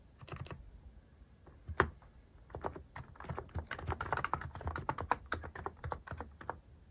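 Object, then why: Mechanical keyboard with plastic keycaps. A Hanmumu mechanical keyboard with plastic cat keycaps is typed on with the fingertips, the hand partly covering the keys mid-stretch. It produces a quick, steady run of short, dry clacks with a low thocky body, and one sharper, louder key strike stands out early on.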